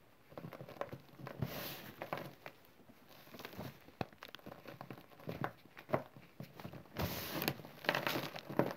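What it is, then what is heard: Chalk and cornstarch powder scratched by fingertips. Bare fingertips scratch and rake lines through a thin layer of green chalk and cornstarch powder on a smooth surface, then gather it into a pile. The sound is a quiet, irregular series of dry, gritty scrapes and crinkly brushing strokes, with some longer sweeping rasps toward the end.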